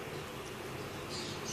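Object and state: Nothing is struck.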